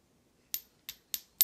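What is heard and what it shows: A piece of non-gold metal, one with a higher speed of sound than gold, is tapped four times for comparison with a gold Canadian Maple Leaf coin. Each tap gives a bright, very high-pitched ping that dies away almost at once, with no low-end body. It sounds solid and short, unlike the longer ring of gold.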